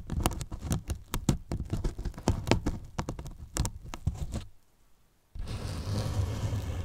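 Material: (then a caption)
Polyethylene foam. Fingertips scratch the top edge of a large, hollow white polyethylene foam box and tap it lightly. A rapid run of soft, dull, low-heavy taps and scratchy brushes fades into near silence for under a second. A steady, continuous scratching rustle then follows.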